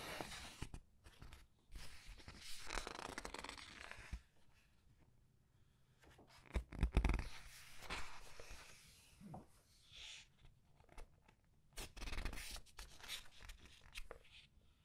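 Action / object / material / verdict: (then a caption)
flick / paper pages of a hardcover book / paper / none. Long red nails flick and slide single glossy paper pages over in a thick open hardcover art book, lightly rubbing the paper. Bursts of bright, crackly rustling and swishing come in irregular waves, with soft low thumps as each page settles and quiet pauses in between.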